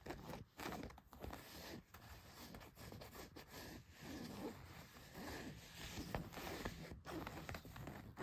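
Long nails scratch across the back pocket of a pair of blue denim jeans. The result is a quiet, continuous rough rasping, made up of short repeated strokes with small dips in between.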